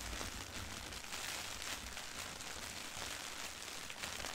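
A flat, thin sheet of white printed tissue wrapping paper lying on carpet is scratched and rubbed by both hands with long nails. This produces a steady, bright, crinkly rustle with continuous scratchy texture and only a faint low rumble underneath.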